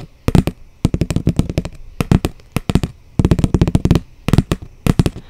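A flat brown cardboard sheet, held upright close by, is tapped with long blue almond-shaped nails. Quick runs of about twenty-five short, dull taps come in bursts with brief pauses between them. The sound is low and papery, with almost no ring and little brightness.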